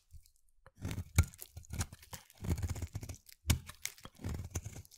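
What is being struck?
Bar of soap.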